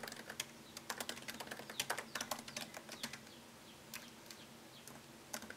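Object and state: Laptop keyboard being typed on.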